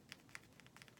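About seven light taps, irregularly spaced, each a short high click with almost no ring. The dense, soft stone gives a dry tick rather than a tone, as expected from tapping a solid carved soapstone piece.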